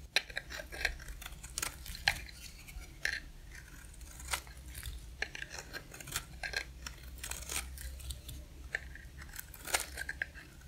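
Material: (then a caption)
Soap. A box-cutter blade scrapes across the face of a dry, solid pink oval soap bar, shaving off thin curls. The result is a steady run of short, crisp, bright scraping ticks that die away almost instantly, over a faint low hum.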